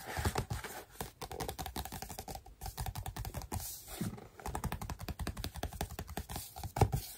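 Fingertips and nails quickly tap and scratch across the surface of a large, flat scrapbook pad of patterned paper, a solid stack of sheets. The result is a rapid, continuous run of dull, low-heavy thuds with a light scratchy texture, pausing briefly near the middle before resuming.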